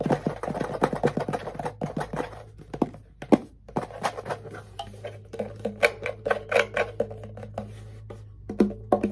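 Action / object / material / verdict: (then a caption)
tap / wooden ukulele body / wood / none. A small hollow wooden ukulele held in the lap has its body tapped with fingertips and nails, producing a quick series of short, dry, hollow knocks with a woody mid-low tone. Each tap dies away almost instantly, over a faint steady low hum. The tapping slows briefly near the middle before picking back up.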